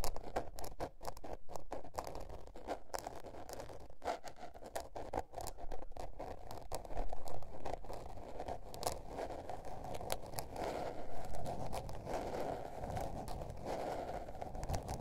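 Long nails scratch and tap the blue patterned paper cover of a small spiral-bound notebook near the spiral. The result is a steady run of soft, dry scraping broken by many quick, dull taps, all low and muffled with very little brightness.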